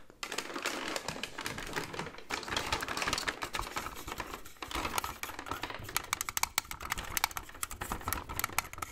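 Fingertips tap rapidly across a large, hollow plastic AT-AT walker toy on its body, head and leg, with the toy turned so its round plastic feet face the mic. The taps are quick, dry, bright plastic clicks that stop almost instantly, packed into a steady, busy patter over a soft rustling background.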